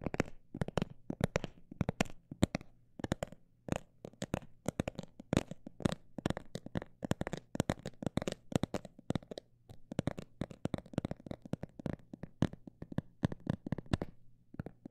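A textured cosmetic bag is tapped in a quick, uneven run of dozens of short, dry taps over fifteen seconds. Each tap is a soft, crinkly tick with a muted low thud and almost no ring, over a faint steady low hum. The level stays quiet throughout.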